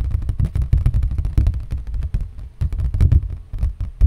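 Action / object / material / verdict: tap / thin cardboard sheet / cardboard / none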